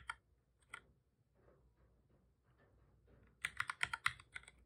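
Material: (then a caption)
Plastic. Fingertips of both hands type on a black full-size plastic computer keyboard. Two separate bright key clicks are followed by a stretch of faint, soft tapping. Then comes a quick burst of sharp, clicky key presses with very short decay.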